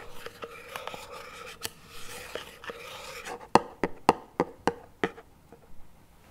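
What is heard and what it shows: Two wooden chopsticks scrape and tap across the lid of a small plastic chocolate spread tub lying on its side. The clip opens with a soft, dry scratching texture with light ticks, then moves into a run of sharper, crisp taps with a hollow plastic tone. The taps die away almost instantly.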